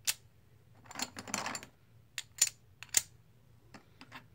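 A stack of green plastic composite poker chips, solid discs, is held in the hands while fingers and nails shuffle and clack them together. Sharp, bright clicks come in an irregular pattern, with a brief rustling cluster of small clacks in the middle, over a faint low hum. Each click dies away almost instantly.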